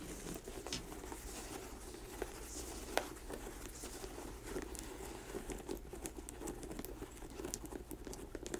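Long nails tap and scratch an empty black leather work boot with a yellow-stitched rubber sole lying on a table. Quiet, dense crinkly scratching runs throughout, broken by short, sharp taps on the leather and the sole.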